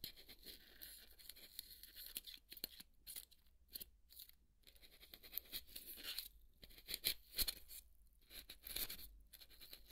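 A hand holds half of a large white polystyrene foam ball while a wooden toothpick scratches and pokes its flat cut face, and foam crumbs fall away. The clip is filled with bright, dry squeaky scratches and crunchy pokes in irregular bursts, with short quiet gaps between them.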